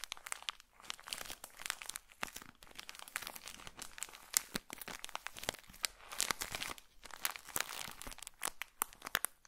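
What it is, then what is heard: Plastic-wrapped pocket tissue pack. A small, colorful pocket tissue packet in a plastic wrapper is squeezed and crinkled with fingertips close to the microphone. Dense, bright crackles and crinkles run continuously with sharp snapping peaks and almost no low end. The quiet, crisp texture rises and falls as the wrapper is worked.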